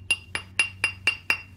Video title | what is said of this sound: Crystalline Pottery - How to separate, grind, and finish by Adam MacMillan Surfside Ceramics | you can hear that tone start to change, and that tone means there's a crack that's spreading